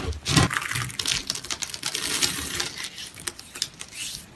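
A heap of brown, dry, brittle grated soap strands (dry soap noodles) on a mesh mat is scooped, rubbed and crumbled by hand with the fingertips. It gives a dense, bright, crunchy crackle of many quick dry snaps with a soft low rustle underneath, with no ringing after each crunch.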